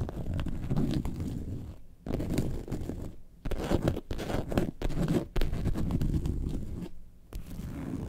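Long nails scratch the top panel of a yellow faux leather lemonade-carton bag lying on its side. The result is bursts of dense, low, muffled scratching and rasping, separated by brief near-silent pauses.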